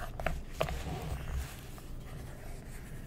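A wooden stick traces along a figure on an open magazine's semi-gloss paper page with a scratching motion, while fingertips with short nails hold the page. Soft, dry scratching and rubbing runs throughout, with three light ticks in the first second and a half. The sound stays quiet and low-heavy, then settles into a faint, steady rustle.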